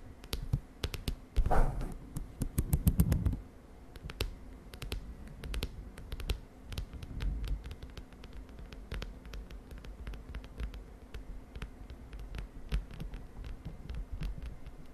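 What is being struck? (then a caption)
Spiral notebook with plastic cover. A large lilac spiral-bound notebook with a smooth plastic cover and white wire spiral lies closed and flat on a bed sheet. Long, dark-polished nails tap and scratch across its cover in a steady run of quick, dull clicks, with a denser louder burst of scratching early on. The sound is soft and low-heavy, with short sharp ticks that die away almost at once.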